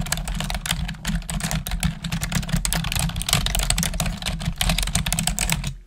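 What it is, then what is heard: Plastic computer keyboard being typed on. Long acrylic nails and fingertips type rapidly on the keys of a black plastic desktop keyboard, producing a dense run of sharp, bright clicks and clacks. A steady low hum sits underneath throughout, and the typing fades out at the very end.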